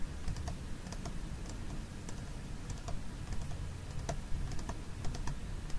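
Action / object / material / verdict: tap / small plastic food container with lid / plastic / none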